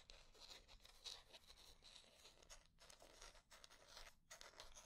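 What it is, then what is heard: Wooden hair brush. Long nails scratch and tap the back and bristles of a light wooden paddle hair brush with wooden bristles and a solid back and handle. The result is a quiet, bright, continuous scratching with dense crisp ticks and short taps, with brief pauses near 2.7 and 4.2 seconds.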